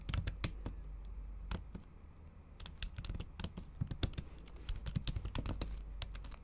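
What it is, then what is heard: Laptop keyboard with silicone cover. Long acrylic nail tips type on a MacBook Pro keyboard whose plastic keys sit under a thin pink patterned silicone cover. The result is an irregular run of quick, sharp, bright clicks that die away almost instantly, with a brief slower stretch in the middle, over a steady low hum.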